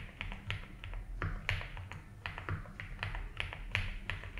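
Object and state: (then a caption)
Mechanical keyboard with ABS keycaps. Both hands type fast fingertip taps on a compact 75% mechanical keyboard with white and blue ABS plastic keycaps and a light blue plastic case, resting on a grey desk mat. Quick, sharp, bright clacks run in an uneven stream with short decays, over a steady low hum.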